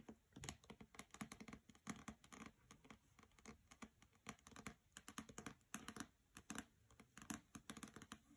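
Long nails tap quickly on the cover and edges of the hardcover novel "Graceling," which has a glossy paper dust jacket and rests on a carpet. The taps come as rapid, irregular clusters of short, dry clicks with a bright edge and a soft low thump. Each tap dies away almost instantly, and the overall level stays quiet.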